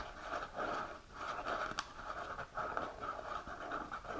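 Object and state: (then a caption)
Cardboard box scratched by fingernails. A small, hollow printed cardboard supplement box is held upright and scratched and tapped with long natural nails across its front and sides. Dry, papery scratching with a hollow midrange resonance around 1.3 kHz swells and fades in repeated strokes, broken by a few sharp, bright taps.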